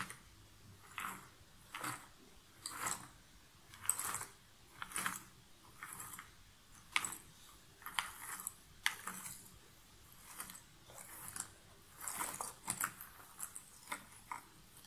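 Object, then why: Loose cardboard jigsaw puzzle pieces in a cardboard box lid. Both hands with long painted nails rake and scratch their fingertips through a large pile of loose cardboard jigsaw puzzle pieces in a shallow cardboard box lid. The result is quiet, dry, bright rustling and clicking bursts that come in irregular strokes about every second or two, with almost no low end and no ring.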